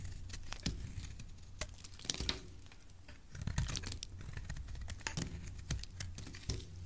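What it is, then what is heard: Bar of soap being carved. A palm-sized, solid rectangular white bar of soap, held in one hand with lilac-painted nails, is scraped and shaved with a metal blade, peeling off curls of soap. Quiet, irregular scratchy scrapes and bright crackling ticks sound over a steady low rumble, with short, dry cuts that fade almost instantly.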